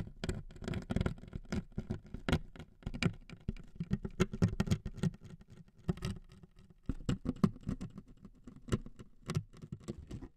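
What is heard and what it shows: Two metal needles scrape across the surface of a thin wood veneer strip laid over two microphones. Dense, irregular scratchy ticks and crackles run throughout, mostly low and muffled with brief bright edges, each dying away almost instantly.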